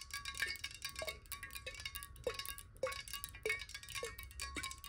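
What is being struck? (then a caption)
Glass water bottle. Long nails tap fast on a clear, hollow glass water bottle that is partly filled with water and held horizontally. The rapid, bright clicking runs together over a steady glassy ring, with duller pitched knocks mixed in.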